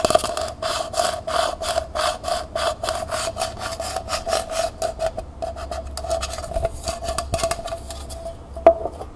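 Long nails tap rapidly on the bottom and side wall of a small, hollow, empty copper-colored metal pail held on its side. Each tap gives a short metallic ping around 660 Hz with a faint scraping rasp. The steady rhythm loosens into quicker, scratchier taps, and one sharper, louder tap comes near the end.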